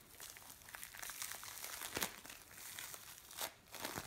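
Hands squeeze, pull and press a lump of blue bead play foam on a metal tray. It makes a dense, bright crinkling and crackling, like tiny beads popping, with louder bursts around the 2-second and 3.4-second marks.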